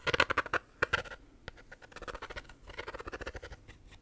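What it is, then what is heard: Plastic shaker bottle scratched and tapped. A pink plastic shaker bottle is held sideways while fingernails scratch and tap its lid and bottom. Quick, dry clicks and scratches come in a fast rhythmic patter, loudest and brightest at the start, then settling into a softer, steady run of light taps.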